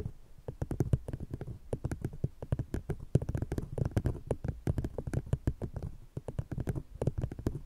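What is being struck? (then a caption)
Paper cup. An empty brown paper cup placed over a fluffy microphone is tapped and scratched with the long painted nails of one hand, while a second cup sits untouched. It makes a fast, irregular stream of dull, bassy, hollow taps with short scratchy brushes between them. Each knock dies out almost instantly.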